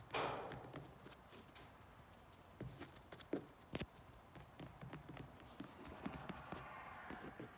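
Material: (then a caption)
Vinyl. Fingertips and nails tap and scratch the padded back of a riding mower seat made of yellow grained vinyl and black carbon-texture vinyl with stitched seams. A brief rustling scratch opens the clip, followed by a steady run of quiet, dull taps and soft scraping strokes that die away almost instantly.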